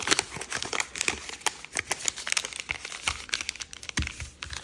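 A purple kaleidoscope origami paper sheet is folded by hand, with fingertips and nails creasing and rubbing the folds. A steady run of dry, bright crinkles and sharp, quick ticks crackles through the clip, mostly high with little low end. Each crinkle cuts off almost instantly.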